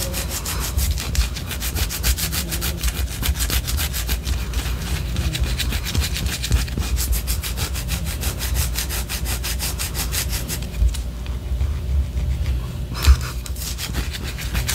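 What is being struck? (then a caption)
Wax pillar candle. Long orange acrylic nails scratch rapidly back and forth along the side of a large white solid wax pillar candle. The result is a steady, dry, rhythmic scraping with bright strokes over a low, muffled rumble. Near the end the bright scratching thins out briefly before a final burst.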